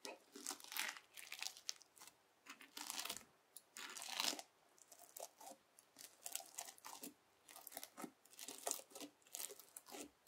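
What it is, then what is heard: Bead-filled slime (floam). A white plastic fork digs into and lifts through a lump of red bead-filled slime (floam) resting on a white table. It makes quick, bright, crackly crunches and tearing crinkles in many short bursts with brief quiet gaps between them. Each crunch stops almost instantly, with no ring and nothing in the low end.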